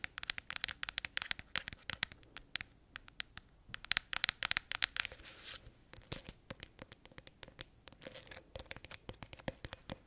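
Long acrylic nails rapidly scratch and tap the green lid and wrapped label sides of a medium plastic honey tub that appears full. The result is a dense stream of sharp, bright clicks and scratchy crinkles with almost no low end, each tap dying away at once.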